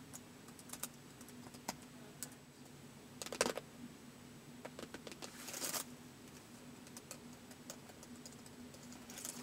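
Fingertips of both hands type slowly on the white plastic keys of a laptop keyboard, producing sparse, short, dry clicks with brief clusters of faster taps and a few louder, brighter bursts. A faint steady hum sits underneath throughout.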